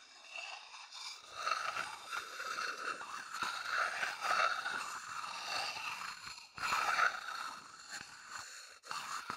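A medium, hollow, empty wooden bowl held in the hand is scratched with a thin wooden chopstick. The result is a steady, dry scraping with a woody midrange tone and bright rasp, rising and falling in uneven strokes with brief pauses between them.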